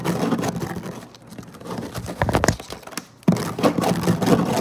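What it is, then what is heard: Woven placemat, scratched. Fingertips and short nails scratch fast across a flat woven synthetic-fiber placemat resting on a table, close up. Dense, rough scratching rasps come in bursts, with a quieter, thinner stretch in the middle before the scratching surges back louder. The sound stays low and dry with little high content.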